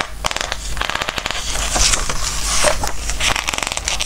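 Fingertips rub and turn the glossy pages of a Christmas book, producing a steady run of crisp, bright crinkles and papery crackles. Sharp snaps of paper stand out over a soft, low rustle throughout.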